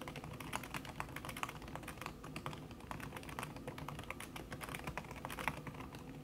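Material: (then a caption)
Silicone. A backlit laptop keyboard in a silver aluminum body, its keys covered by a thin red silicone skin, is typed on fast by fingertips with long red nails. A steady, rapid stream of soft, muffled key taps with short, clicky attacks and almost no ring over a low background rumble.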